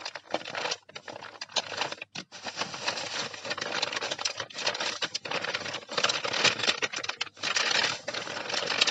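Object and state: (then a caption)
Crinkling kraft paper. Long painted nails and fingertips scratch and rub a large sheet of brown kraft paper lying flat on a surface, crinkling the paper. A dense, bright, continuous crackle of scratching and rustling fills the clip, broken by a few brief quiet gaps and swelling louder toward the end.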